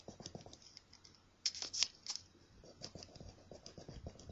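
A coin scratches the coating off a thin, flat paper scratch-off lottery ticket held by the fingertips of one hand. Quick, bright, dry scraping strokes come in an irregular rhythm, with a louder burst of sharper scrapes in the middle before the steady, softer scratching resumes.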